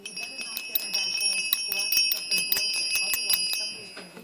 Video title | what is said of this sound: Yard sale | And if you listen carefully, it rings.